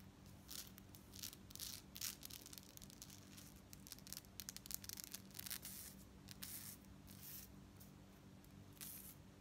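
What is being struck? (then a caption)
Metal bead fringe necklace. Long nails scratch the beads of a gold-tone metal necklace with a chain fringe, then the fringe is held up and ruffled. Quick, bright scratching and jingling bursts come and go over a steady low hum.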